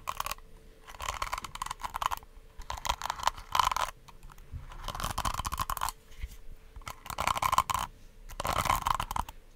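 Long acrylic nails scratch and tap across the plastic bristles of a small pink detangling hair brush with a hollow, handle-less body, held close to the mic. Bursts of dry, crackly scratching come in uneven waves, with a bright rasp centered around 1 kHz and short taps in between.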